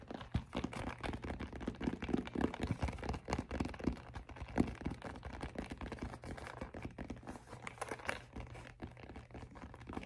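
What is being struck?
Fabric-covered hard-shell headphone case.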